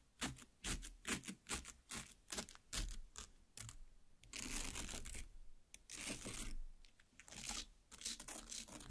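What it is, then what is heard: Cut watermelon half, tapped and pierced. Long black nails tap on and pierce into the red flesh of a large cut watermelon half. Sharp, bright clicks and wet crunches come in uneven bursts, with longer scraping, squelching stretches as the nails dig into the pulp.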